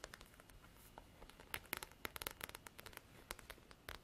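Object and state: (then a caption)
Faux leather covered folder. Long black artificial nails tap and scratch a large, flat, black faux-leather-covered hard-cover folder, a leather-textured diary with gold lettering, while it is held. The result is a quiet run of sharp, bright, dry clicks and taps with no ring, over a soft scratchy rustle between them.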